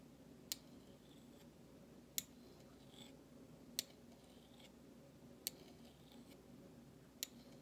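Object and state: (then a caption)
Stainless steel spoon. A flat metal utensil handle scrapes across the bowl of a large stainless steel spoon made of thin, solid metal. Five short, bright metallic clicks land at fairly even intervals, with soft scraping swishes between them. Each click dies away almost instantly over a quiet low background hum.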